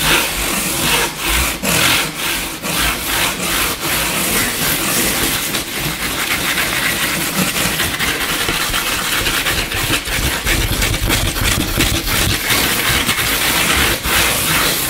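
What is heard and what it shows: Both hands scratch and tap fast with short fingernails and fingertips on a flat, solid, light-colored wooden tabletop. The result is a dense, bright, rasping scratch with quick taps mixed in, running steadily and unevenly for the whole clip.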